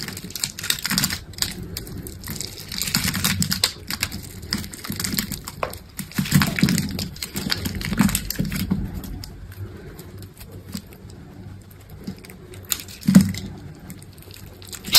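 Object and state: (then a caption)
Bar of soap being scraped. A steel utility knife blade scrapes across a solid, hand-sized green soap bar that is pre-scored in a grid, shaving off cubes that crumble away. The result is a dense run of short, dry crackling and scraping ticks with a soft low body and bright, crisp edges. The scraping thins out and quiets toward the end, broken by one sharper snap.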